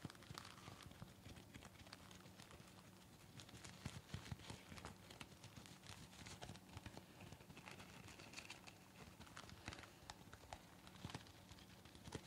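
A light green, pleated disposable surgical mask of thin, soft, layered nonwoven fabric, worn on the face, is scratched and tapped with the long nails and fingertips of both hands. The result is a quiet, continuous crinkling and scratching with soft, dry taps that die away quickly, running over a low, steady hum.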